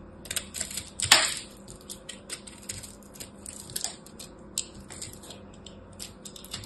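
A hand-held solid chunk of pressed blue and purple soap chips, a crushed soap ball, is scraped with a small black blade. Dry, crisp scratching and crackling is heard in short bursts, with one louder crunch near the start. The sound sits almost entirely in bright high frequencies, with little low end.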